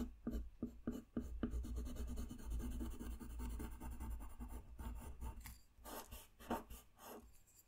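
A colored pencil strokes and scratches across a flat white paper coloring sheet lying on a desk while a figure's hair is colored in. A few quick separate strokes lead into a steady stretch of soft, dry scratching over a low hum, then it breaks into scattered, brighter strokes before fading.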